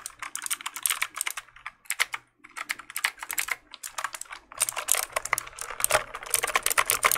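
A black plastic mechanical keyboard is held in the hands while its keys are pressed and clicked with the fingertips. Rapid, bright, crisp clicks come in bursts separated by short pauses over a faint low hum. The typing grows denser and louder toward the end.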